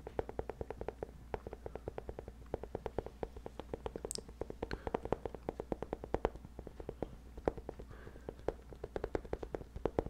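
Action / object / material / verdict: tap / soft nylon fabric bag / nylon / none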